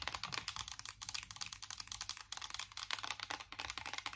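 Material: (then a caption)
Metal. Fast tapping with long acrylic nails on the raised squares of a flat, hollow, embossed metal tin chocolate-bar eyeshadow palette held in both hands. The sound is a rapid stream of short, bright, clicky taps with almost no ring, heavy in the high frequencies.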